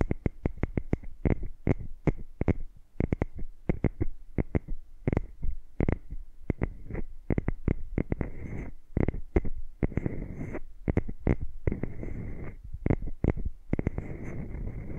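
Long nails and fingertips tap and scratch the tops and sides of two identical tiny frosted glass jars with caps, which sit over the microphones and appear hollow and empty. Rapid, close-up taps land as dull, low thumps with short clicky edges and almost no ring. After the midpoint, denser scratchy rustling fills the gaps between the taps.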